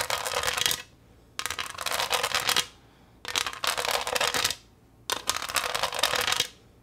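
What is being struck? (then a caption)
Thin plastic tray. A thin, hollow green plastic tray shaped like a textured pineapple is held up and tapped and scratched with long green nails. Four bursts of rapid, bright clicking and scratching rise and stop with short silences between, dry and crisp with almost no low end.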